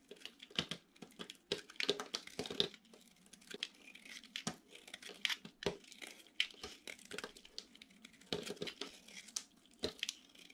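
A metal utility knife blade shaves and cuts crunchy curls off a hand-sized solid bar of dry orange soap with a gold glitter coating, held in the hand. Quick, dry crunching and crackling scrapes come in uneven bursts, bright and sharp with almost no low end, each stroke ending abruptly over a faint quiet background.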